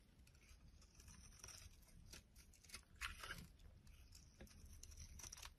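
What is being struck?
Soap bar shaved with a metal blade.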